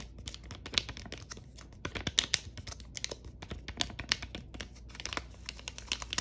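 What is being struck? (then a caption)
Foil-laminate sachet. Long nails scratch, tap and crinkle the glossy surface of a flat, filled purple foil-laminate Lululun face mask sachet held in one hand. A dense run of quick, bright crackles and sharp ticks continues throughout, with a few louder taps standing out over a faint low hum.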